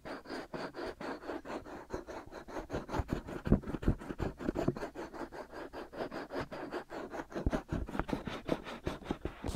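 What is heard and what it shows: Fingertips and nails of both hands rub and scratch the two white silicone ear shells of a black binaural microphone. The result is a rapid, uneven run of short, dry scratching strokes, about three per second, with a dull, low-heavy tone and a faint bright hiss in the background.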